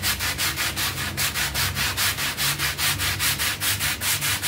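A bristle hand brush scrubs along the edge and surface of a dirty, half-round, soapy textile pile rug covered in foam. Brisk, regular back-and-forth strokes, about two or three per second, produce bright, hissing, wet scratching swells over a faint low hum.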